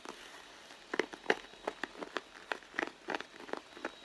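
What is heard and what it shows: Long blue nails scratch and tap the side panel of a red pebbled-leather handbag, which sounds hollow and soft. Quiet, dry clicks and short scratchy crackles come at an irregular pace, with energy mostly in the mids around 400 Hz to 2 kHz and a faint bright edge. Each tap dies away almost at once.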